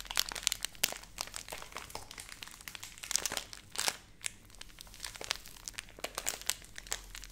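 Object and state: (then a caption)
Plastic pouch crinkled and scratched. A filled Nestle Everyday laminated plastic milk powder pouch, held in both hands, is crinkled and scratched with long nails. Dense, bright crackling and crisp scratching come in quick irregular bursts, with sharp snaps that cut off almost instantly and a faint low hum underneath.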